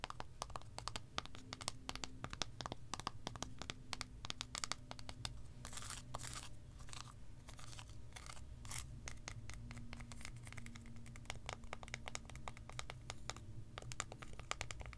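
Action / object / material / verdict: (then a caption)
tap / segmented milk chocolate bar / chocolate / none. A solid, segmented milk chocolate bar held flat in one hand is tapped and scratched with long acrylic nails. Rapid, dry clicks and crisp scratching streaks sound throughout, short and bright with almost no ring. They sit over a quiet, steady low hum.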